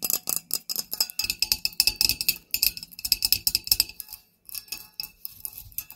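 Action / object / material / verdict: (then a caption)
tap / wrought-metal spider-shaped tealight holder / metal / none. Long nails tap rapidly on a black wrought-metal, spider-shaped tealight holder with wire legs and a hollow cup body, striking both the body and the legs. The taps are bright, high, tinny clicks with a very short ring and almost no low end. They run in quick bursts with a brief pause just past the four-second mark.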